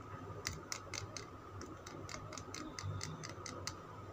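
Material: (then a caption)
Soap. Fingernails tap and scratch a solid green Lux soap bar held in the hand, producing about fourteen quiet, bright, short clicks with brief scraping in between. A faint steady tone near 1.3 kHz and a low rumble run underneath throughout.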